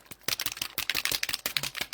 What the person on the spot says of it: you got to shake it up. Hear the the ball in there.